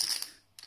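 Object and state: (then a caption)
Real clay poker chips clinking. Paulson clay poker chips are clinked together, giving the bright, high clinking sound typical of poker rooms and casinos. A sharp clink fades over a fraction of a second, followed by a second, quieter clink.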